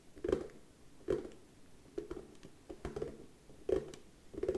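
Slow, quiet tapping on a wooden surface produces soft, dull knocks with a warm low-mid body around 380 Hz. The knocks come at an uneven pace, roughly one to two per second, and each dies away almost at once.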